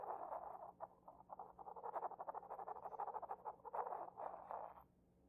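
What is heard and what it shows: A porcelain pestle scrapes the base of a hollow, inverted white decorated porcelain mortar. The result is a quiet, rapid series of short, dry scraping strokes with a midrange, slightly hollow tone. The strokes stop just before the end, leaving near silence.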